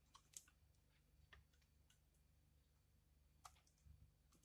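A utility knife blade scrapes curls off the face of a thin, hand-sized, solid pale pink dried bar of soap held in the hand. Quiet, short, crisp clicking scrapes with a bright, high edge sound at scattered moments over a low, steady hum. Each one cuts off almost instantly.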